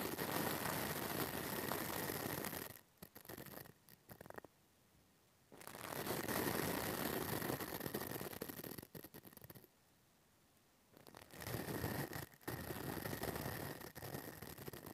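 A pink plastic brush rubs and scratches its white plastic bristles over the hollow metal mesh grille of a small pink mini microphone. The result is dense, close bristly scratching in three bursts separated by quiet pauses.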